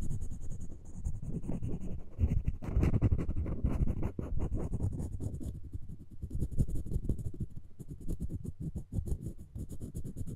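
The floss string of a plastic floss pick is rapidly scratched and rubbed across the solid wooden handle of a wooden spoon held in the fingers. It makes a dense, dry, low-weighted scratching with many quick onsets and no ring after each stroke. The rubbing runs steadily throughout, swelling slightly in the middle.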